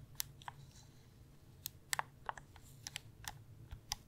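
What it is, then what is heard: Plastic gaming controller. Fingernails tap the shell and click the buttons of a light blue hollow plastic gamepad held in both hands. Eleven short, sharp, bright clicks and taps land at irregular intervals, each dying away almost at once. A faint steady low hum sits underneath.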